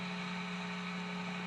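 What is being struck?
Nothing is struck.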